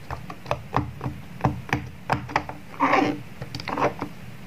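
A square rainbow silicone pop-it toy with hollow bubbles is flipped over, and fingertips push the bubbles through one after another. A quick run of soft, dull pops and clicks follows, each short with little ring, plus a brief rubbing swell partway through.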